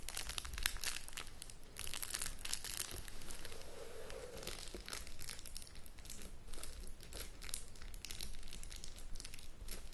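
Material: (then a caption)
Cardboard, plastic film. Long nails scratch and tap along the sides and front edge of a shrink-wrapped cardboard board game box held in the hands. Dense, continuous crinkling of the plastic wrap is heard, with bright scratching textures and quick, dry taps over a low rumble.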